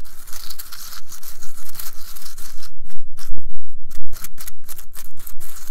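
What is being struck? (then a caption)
Wooden toothpicks in a holder. Fingertips brush and scratch across the upturned tips of wooden toothpicks packed into a small green cylindrical holder. The result is a dense, bright, crackling scratch in irregular bursts, briefly thinning out near the middle before returning as sharper, separate strokes.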